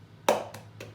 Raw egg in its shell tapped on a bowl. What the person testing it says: we tap the egg until we hear the sounds change we hear the hole in the shell